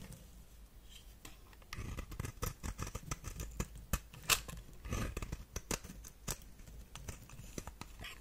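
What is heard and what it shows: A knife blade scrapes and shaves the surface of a solid white shaped soap bar held in the hand, with flakes falling onto a pile of shavings. The result is a quiet run of short, crisp, bright scraping and snipping strokes that become denser and louder partway through, each one dying away quickly.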